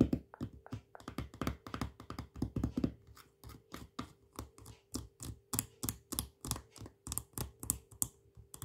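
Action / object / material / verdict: tap / plastic jar with plastic lid / plastic / none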